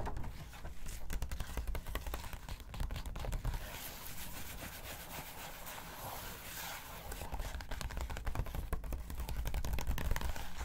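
Long acrylic nails quickly scratch and rub across the pages of an open glossy paper magazine lying on a table. The result is a dense, irregular stream of dry scraping and scratching, louder near the start and end and softer in the middle, over a low, steady rumble.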